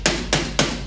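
Rubber tubing frozen in liquid nitrogen to about -300 degrees and made rigid is dropped, giving three hard, hammer-like impacts. Each hit is bright and sharp, with a short ring that fades quickly. Frozen and stiff, it sounds very different from the normal, flexible tubing.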